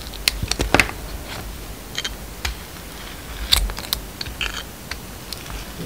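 A utility knife blade shaves slices from a solid, hand-sized bar soap with a gold glitter coating and a yellow-white striped inside. Irregular, sharp, bright crisp scrapes and clicks sit over a low background hiss, with a louder cluster near the start and another burst around the middle.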